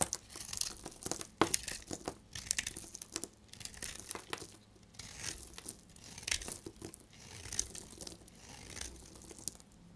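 A solid, dried bar of soap, pink on the outside and yellow inside, is held in the hand and shaved with a snap-off utility blade. Each stroke makes a dry, bright, crinkly scraping and crackling as thin shavings break away, with short sharp snaps between quieter passes. The strokes come in a steady run of soft, crisp bursts.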